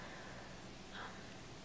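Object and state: Nothing is struck.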